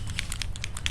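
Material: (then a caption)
Plastic. A plastic bottle of patina paint is shaken to mix it, and the small ball bearing or plastic agitator inside rattles. The result is a quick series of short, bright clicks over a steady low hum.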